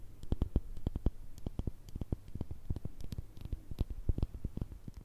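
A small round cosmetic cream jar, with a clear glass base and a black plastic lid, is turned upside down and tapped on its labelled bottom with long red nails. The result is a rapid, irregular series of short, dull knocks with faint bright clicks on top. Each tap dies away almost instantly, with no ringing.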